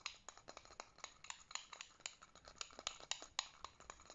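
A white plastic fidget spinner with metal bearing rings is held between thumb and finger while the other fingers flick and tap it to spin. About 22 quiet, dry, bright clicks and taps come in an uneven rhythm, each stopping almost instantly with a faint high rattle.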